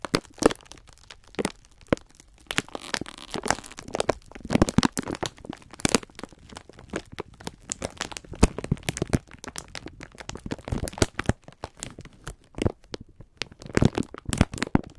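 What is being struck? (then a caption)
Sponge scourers in plastic film wrapping. Both hands rub and press the clear plastic film of a full, plastic-wrapped pack of sponge scourers. Dense, irregular crackling and crinkling runs throughout, with sharp, dry crunches and soft muffled squeezes.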